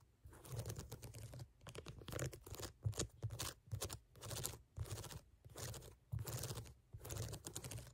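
Long nails tap and scratch across the solid ridges of a brown ridged rubber sneaker outsole. Bursts of dense, clicky tapping and bright, crackly scratching alternate with short pauses, over a soft low thump from the rubber.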